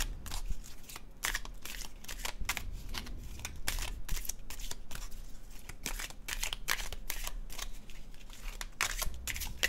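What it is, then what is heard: Tarot card deck being shuffled. A red-orange illustrated cardstock tarot deck is overhand shuffled by fingertips, giving a rapid run of crisp paper flicks and soft slaps. Bright, papery bursts repeat over a low, steady rumble.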